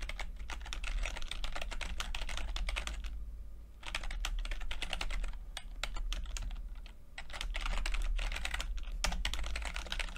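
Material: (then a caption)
Plastic. Fingertips of both hands type continuously on a full-size plastic computer keyboard with red and blue backlit keys and low-profile keycaps. The result is a dense stream of bright, quick clicks and taps that briefly thins out about a third of the way in and again near the seven-second mark. A steady low hum sits underneath throughout.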